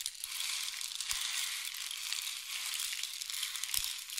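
A long, hollow painted wooden or bamboo rain stick, held diagonally by the fingertips, is tilted so the pellets inside trickle through it. This makes a steady, bright, hissing patter like falling rain or sizzling. Two faint low knocks occur near the one-second mark and toward the end.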